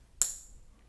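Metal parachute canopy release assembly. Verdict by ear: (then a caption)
Solid. The right metal canopy release assembly on a parachute harness is tapped once with the knuckles of the left hand to check that it sounds solid. A single bright metallic clink rings high and briefly, then fades. It sounds solid, as it should.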